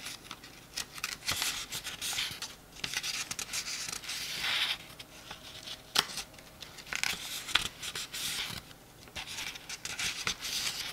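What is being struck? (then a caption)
Paperback book pages. Fingertips riffle and rub the edges of the paper pages of a small open paperback book. Bright, crisp rustling and scratching come in uneven bursts, with a few sharp papery ticks and almost no low end.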